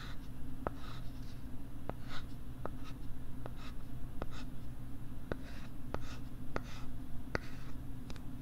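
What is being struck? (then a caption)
Plastic writing tablet back. Fingernails scratch the plastic back of a pink LCD writing tablet held close to the microphone with its back side facing out. Soft, dry scratching runs throughout over a steady low hum, broken by faint, sharp ticks.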